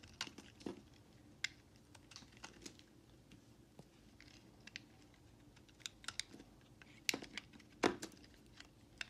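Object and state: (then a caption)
Bar soap being carved. A utility knife blade carves and chips shavings and chunks off a solid white bar of soap held in the hand. Quiet, irregular crisp scraping and clicking cuts come through as short bright snaps over a faint low murmur, with a few louder chips standing out near the end.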